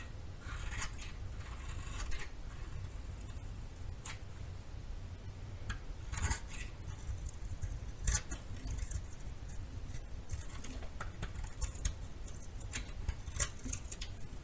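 A metal knife shaves curls off the surface of a solid yellow bar of soap. Repeated soft, crisp scraping strokes come as short bright bursts over a steady low background hum.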